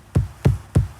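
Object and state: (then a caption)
Hollow foam dome shell. Four low, drum-like thuds, evenly spaced and quickly damped, are struck on the hollow shell of an abandoned dome-shaped structure. The shell is made of a Styrofoam-like material poured over inflated balloons to form its shape. Each hit is a short, deep knock centered around 130 Hz with almost no high-frequency content, confirming the shell is hollow.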